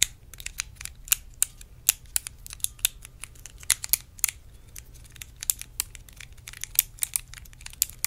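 A small, hollow, clear plastic compartment box is held in both hands and tapped with long acrylic nails. The taps come as a quick, uneven run of sharp, bright clicks, about thirty of them, each dying away almost instantly over a faint low hum.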